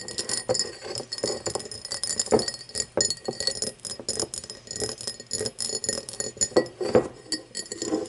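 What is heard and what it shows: An empty, hollow cut-crystal glass tumbler lies on its side while long nails tap and scratch along its side and base. The result is a steady stream of quick, bright clinks and scraping rasps, each tap a short glassy ping around 500 Hz that dies away almost at once.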